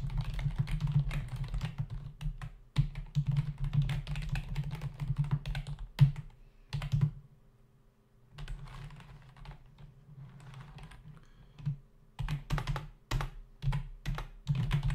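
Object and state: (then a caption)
Plastic computer keyboard being typed on. A black plastic membrane desktop keyboard with hollow key caps is typed on rapidly with the fingertips of both hands. The sound is a dense run of soft, thuddy key taps with a low, boomy body, with a brief lull in the middle before the tapping picks up again in quicker bursts.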